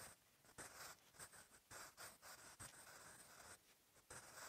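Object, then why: Graphite pencil on a paper notebook page. A sharpened wooden graphite pencil, held in the fingers, writes on the lined paper page of an open notebook. Its strokes make quiet, bright, dry scratching in short bursts, separated by brief softer pauses.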